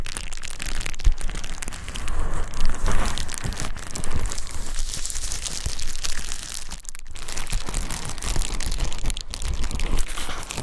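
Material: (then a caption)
Plastic. A clear plastic bubble wrap sheet is held by one hand at the edge while the other hand rubs and crumples it from behind, crinkling the air bubbles. A steady, dense stream of crackles and crinkles runs over a heavy low rumble for the whole clip, with short, quickly fading snaps.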